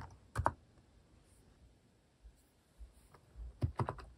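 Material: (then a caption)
Plastic. Fingertips type on the plastic cat keycaps of a compact plastic mechanical keyboard after a quiet idle stretch. A pair of sharp clicks comes early, a few soft taps follow in the middle, and a quick cluster of clacks closes the clip, each with a short, dry, low-weighted thock.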